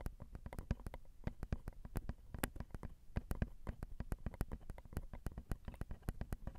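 Long acrylic nails tap on the small, hollow, crossed silver metal X/Y microphone capsules of a Zoom recorder. A steady, rapid stream of quiet taps comes through as deep, boomy thumps with faint bright clicks on top. Each tap is dry and dies away almost instantly.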